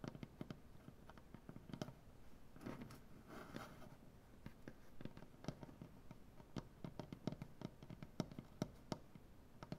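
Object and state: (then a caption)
Wooden butcher-block table tapped with fingernails. Fingernails from both hands tap a large solid maple butcher-block tabletop, making quiet, dry, clicky taps with a woody low thump and almost no ring. Around the middle, a brief stretch of scratchy rustling passes over the wood before the scattered, uneven tapping resumes.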